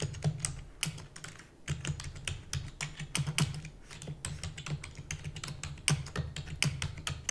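Fingertips with long natural nails type rapidly on a full-size black plastic computer keyboard with plastic keys and a hollow housing. The result is a fast, uneven stream of short, bright clicks and clacks that die away almost instantly, over a steady low hum.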